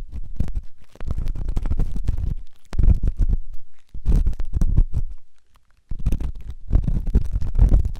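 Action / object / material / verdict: scrape / silicone ear microphone scraped with a steel ear pick / silicone / none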